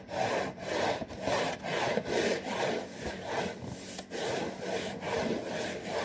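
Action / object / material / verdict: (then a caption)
scrape / cardboard cracker box / cardboard / none. A hand scratches and rubs the surface of a hollow, printed cardboard saltine cracker box. Steady back-and-forth strokes, roughly two per second, make a dry, papery rasp centered in the midrange with a bright hiss on top. The rhythm is slightly uneven throughout.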